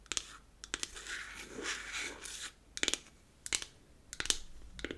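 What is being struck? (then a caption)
Small closed beech-wood compact case. Long acrylic nails tap and scratch the top of a closed, hollow, square powder compact made of unfinished beech wood. Clusters of sharp, bright, dry clicks come in short bursts, with a soft, steady scratching stretch in the first half. The taps die away almost instantly with no ring.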